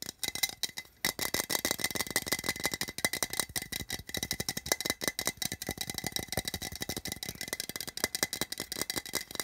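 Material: Metal.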